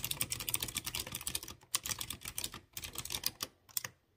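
A light blue plastic mechanical keyboard with typewriter-style round chrome-rimmed keycaps on clear-housed blue switches is typed by fingertips in rapid presses. Bright, sharp clicky taps come in dense runs with brief pauses, each click dying away almost at once.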